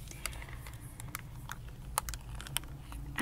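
Fingertips and nails tap and click on a small, hollow, empty printed hard plastic phone case held in both hands over a table of merch. Short, dry, bright clicks come at an irregular pace over a steady low hum, with a few sharper, louder taps standing out.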